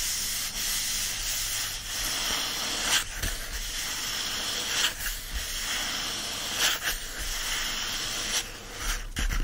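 Fingertips and nails of both hands rub and scratch across the printed paper pages of an open paperback novel lying flat on a fleece blanket. The result is a steady, bright, hiss-like papery rustle, with several brief louder scratchy swells along the way.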